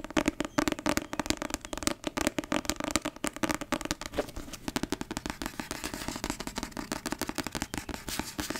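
Long red nails rapidly tap and click on the glossy card cover and spine of a thick, solid paperback novel held in the hand. The taps are dry, crisp and bright, with almost no ring and a light papery body. The first half has sharper, louder clicks, then the tapping turns into a softer, steadier patter.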